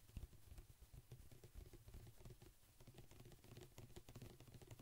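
A large white-and-blue plastic pump bottle of pet shampoo, hollow and likely partly full, is held beside the microphone and tapped quickly with fingertips and nails. The result is a steady patter of soft, hollow, low thuds with faint clicky edges, each tap dying away almost at once.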